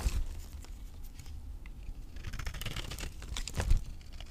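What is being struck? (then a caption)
Bar of soap scraped with a knife blade. A palm-sized, solid rectangular bar of dry, green vintage avocado soap is held in one hand while its surface is shaved and scraped with a utility knife blade. Dry, crumbly scraping and crackling rasps come in uneven strokes over a low, muffled rumble, with a few brighter crisp bursts. The blade leaves powdery, crumbly shavings.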